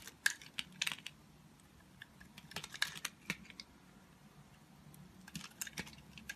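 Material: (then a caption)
Soap. A solid, hand-sized cylindrical soap bar with a green wax coating over white soap is held in one long-nailed hand and scraped and carved with a utility knife blade, shaving off the coating. Sharp, bright scraping clicks and crackles come at irregular intervals over a quiet background, each dying away almost instantly.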